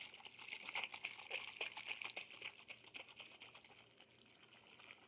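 A glass bottle is tapped and shaken, giving a quick run of light, bright clicks and rattles over a thin high ring. The taps come fast and loosely irregular, loudest early on and fading softer toward the end.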